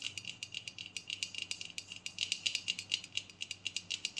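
A medium aluminium aerosol body spray deodorant can, hollow and pressurized with a black plastic cap, is held upright and tapped rapidly with long painted nails. About 33 quick, short, bright clicks ring out, centred near 3 kHz with almost no low end. They form a light rattling patter that is steady throughout.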